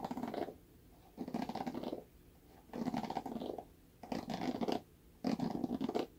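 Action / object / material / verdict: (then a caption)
scrape / plastic paddle hairbrush with bristles / plastic / none. Fingernails scratch the bristles of a red plastic paddle hairbrush, which is briefly turned edge-on and then face-up. Five raspy, crackly scratching passes are heard, each with a dense scratchy texture and quiet pauses in between.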